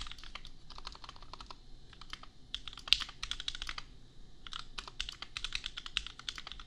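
A compact $250 custom mechanical keyboard with Gateron Milky Yellow switches and red and pink plastic keycaps is typed on with the fingertips of both hands. The result is rapid, bright, dry clacks in quick bursts, with short pauses between runs. Each keystroke dies away almost instantly over a faint low rumble.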